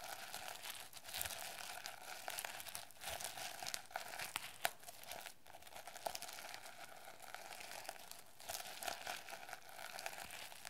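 Long nails scratch rapidly across the plastic sequins of a notebook cover held in both hands. The result is a steady, dense, bright crinkling rasp with many quick clicky spikes. There are no pauses through the whole clip.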